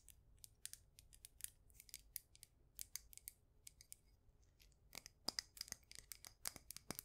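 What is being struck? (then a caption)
Ceramic mug planter. Long acrylic nails tap the outer wall of a white ceramic mug planter filled with succulents. A quick, irregular run of light, clicky taps sounds bright and high-pitched with almost no ring, grouped into bursts that grow denser and slightly louder toward the end.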